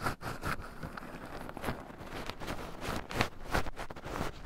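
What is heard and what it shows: Two wooden chopsticks stir and poke through a small wooden bowl heaped with raw shelled pine nuts, with two black microphones buried in the pile so the nuts rub against them too. A steady crunchy rustling and scratching is heard, broken by several brighter clicky bursts as the chopsticks dig in.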